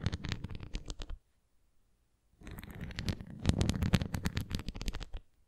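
A red translucent plastic flying ring toy with a nubbed center is tilted in the hands while fingernails scratch the nubs and tap the rim. Dense bursts of quick, dry clicking and scratching fill about the first second, then fall silent for over a second. The sound resumes louder and busier until near the end.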